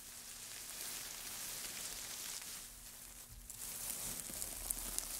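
Gloved hands dig into a loose heap of thin, light wood shavings, scrunching and stirring them. The result is a steady, dry, bright crackling rustle over a faint low hum. It eases briefly past the middle, then swells again with a few sharp crackles near the end.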